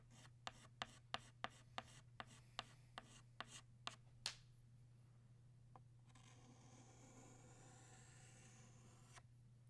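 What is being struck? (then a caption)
Chalk stick on a chalkboard. Fingertips hold a blue chalk stick against a large, flat, solid black chalkboard while drawing a butterfly. There are 11 sharp, bright taps and scratches in quick succession over a steady low hum, then a pause with a single light tick. A continuous gritty rubbing stroke follows for about three seconds.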